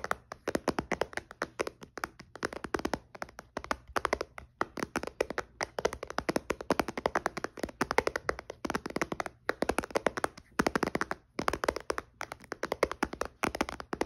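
A white-bezel iPad with its glass touchscreen switched off rests on a blanket while fingertips and nails tap quickly across the glass. The result is a dense, steady run of short, dry clicks with no ring, mostly in the midrange around 570 Hz.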